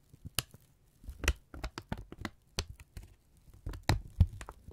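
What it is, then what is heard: Kraft paper strip crinkling. A thin brown kraft paper strip is held in both hands, then folded and crumpled with the fingertips. It makes a series of sharp, dry crinkles and crackles that reach up into bright highs, with quieter rustling and a low hum underneath.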